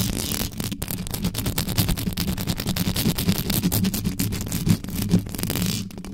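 Long yellow nails and fingertips scratch and rub fast and hard on the uncovered, hollow metal mesh grille of a black condenser microphone. The result is a dense, continuous rasping scrape with a heavy, boomy low rumble underneath and quick bright crackles riding on top, and it stays steady throughout with only brief dips.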